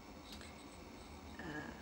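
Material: Nothing is struck.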